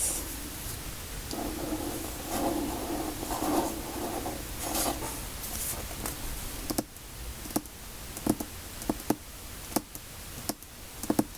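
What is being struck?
Hardback book cover, cardboard.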